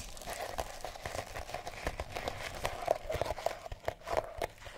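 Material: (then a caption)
Sisal rope. A mouse-shaped cat toy wrapped in colored sisal rope is held in the hand and scratched and rubbed by long nails. It gives a steady run of dry, crackly rasps and quick scratchy strokes with a rough fibrous texture, centered in the midrange with short bright ticks.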